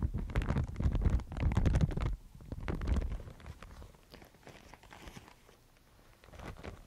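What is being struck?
Thin mulberry paper sheet.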